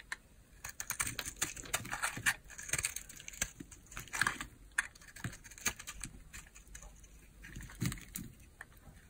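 A small, solid, peach-colored bar of hard soap, held in the palm, is carved with a utility knife blade that scrapes off chunks and flakes. Crisp, dry scrapes and sharp crackling snaps come in quick, irregular bursts with a bright, papery edge. There are short quiet gaps between strokes.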